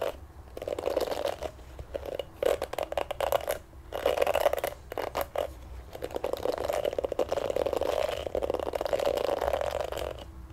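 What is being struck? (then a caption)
Plastic hairbrush with plastic bristles. A pink plastic oval hairbrush with dense black plastic bristles is held in both hands while fingertips and thumbs rub and scratch across the bristles. The result is bursts of dry, crackling scraping with a mid-range rasp, coming in uneven strokes separated by brief pauses.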